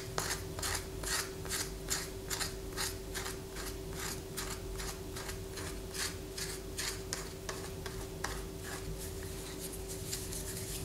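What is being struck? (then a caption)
Bar of white soap. Long fingernails scratch a palm-sized solid white soap bar held in the hand, making quick, repeated raspy scrapes at about two per second, each a bright burst of noise. Shavings fall onto a paper poster, and a steady low hum runs underneath the whole time.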